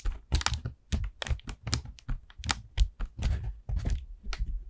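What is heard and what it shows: Long nails tap and scratch the surface of an expanded, hollow orange paper lantern made of thin paper over wire ribs. The result is a run of quick, dry taps, each with a deep hollow thump and a crisp bright papery crackle, mixed with scratchy rustling. The sound is close-up and fades almost at once after each tap.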